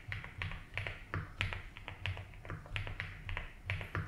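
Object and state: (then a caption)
Mechanical keyboard with plastic keycaps. A compact 75% mechanical keyboard with white and blue doubleshot ABS plastic keycaps, a light blue plastic case and a polycarbonate plate with foam, resting on a grey desk mat, is typed on steadily with the fingertips of both hands. The key taps come in an uneven run of short, bright clicks over a low thocking body, each dying away almost at once.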